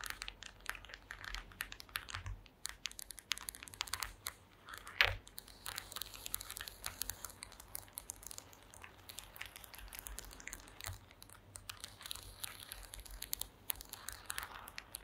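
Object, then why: Woven wooden slat mat. Long green acrylic nails tap and scratch across a woven wooden slat mat. The result is a quiet, steady stream of quick, bright, crackly clicks and scrapes, with one sharper, louder tap near the five-second mark.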